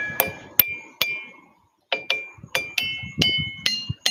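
Ringing rocks in Australia are struck in a quick, uneven series of ten hits, with a short silent pause after the first three. Each strike gives a bright, metallic, bell-like ring that hangs briefly before the next hit.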